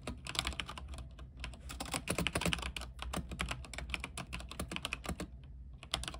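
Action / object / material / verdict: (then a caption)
tap / mechanical keyboard, plastic keycaps / plastic / none. Both hands' fingertips type continuously on a white-keycap mechanical keyboard with plastic keycaps, set on a silver frame and lit with RGB. Quick, bright, clacky keystrokes rattle along in an uneven stream, each one dying away almost instantly. A steady low hum sits underneath.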